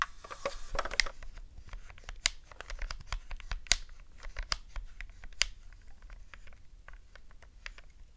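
Long glittery nails tap and click the face buttons and tap the shell of a hollow black hard-plastic Nintendo GameCube controller held on a fluffy rug. The result is a steady run of sharp, bright plastic clicks and taps with very short decay, some louder than others, over a soft, brushy background.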